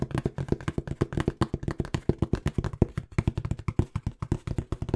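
Fingertips tap rapidly on the faces of a small, hollow, empty-looking brown corrugated cardboard box, making about forty quick taps in five seconds. Each tap is a dry, muffled, low hollow thud that stops almost instantly with no ring.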